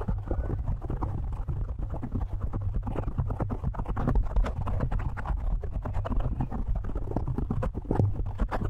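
Fingertips of both hands rapidly tap and scratch a black foam windscreen on a microphone. The result is a dense, continuous stream of quick, muffled thumps and rustles, heavy in deep low rumble with almost no bright high content.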